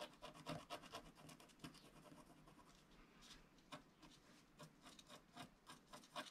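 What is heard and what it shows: A wooden stylus scratches lines into the lower left of a flat scratch-art card of black wax-coated paper while the other hand presses the sheet down. Quiet, dry, bright scratching strokes come in irregular bursts, with a few sharper scrapes standing out over a soft continuous rasp.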